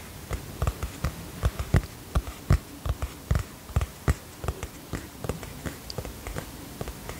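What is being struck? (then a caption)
Cardboard hardcover notebook cover. Fingertips and nails tap the cardboard cover of a teal hardcover notebook held upright, giving about 20 short, irregularly spaced taps. Each tap is a dull, low thud that dies away almost at once, some with a faint bright click from the nails, over a quiet steady hiss.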